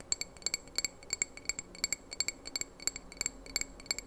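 A small hollow red glass candle jar with a lit candle inside is held in the hands close to the microphone and tapped with fingernails. About two dozen quick, bright clinks come in an uneven rhythm, each a sharp glassy tick with a high ringing tone that dies away almost at once.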